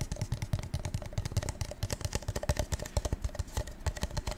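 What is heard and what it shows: A gold metallic-coated paper cup is tapped in a quick, uneven run of about 29 light taps over four and a half seconds. Each tap is a short, dull, low tick with almost no ring, and the cup stays intact.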